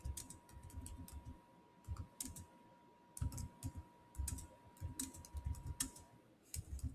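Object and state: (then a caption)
Laptop keyboard with plastic keys. Fingertips type on the solid black plastic chiclet keys of a silver Samsung laptop. Irregular bursts of soft, quick clicks with low thuds and bright tick edges are separated by short pauses. A faint steady tone runs underneath for most of the clip.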